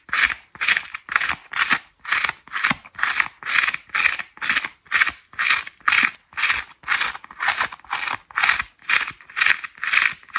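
A dry white foam ball half with an orange outer skin, held in one hand, has its foam face scratched and rubbed with long red nails while small bits flake off. About twenty steady, separate scratching strokes come in quick succession, roughly two per second. Each is a dry, crackly rasp, bright and high with nothing low.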